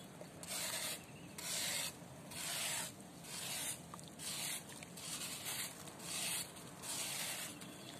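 A metal knife blade shaves the edge of a large, solid, round disc of pressed dry sand held over a basin of sand and water, sending loose sand pouring down onto a wet pile. About nine soft, bright, hissing scrape strokes rise and fade at a fairly steady pace over a faint background hiss.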